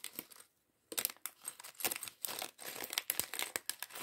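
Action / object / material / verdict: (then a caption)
shake / thin plastic bag holding small plastic bricks / plastic / none. A small, clear, thin plastic polybag partly filled with small plastic LEGO pieces from LEGO City sandwich shop set 40578 is crinkled and pinched between the fingertips. The small bricks rattle inside. The result is quiet, bright, dry crinkling and clicking in quick bursts, with a short silent gap near the start.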